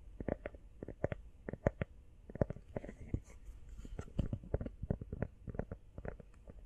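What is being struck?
Rubber phone case.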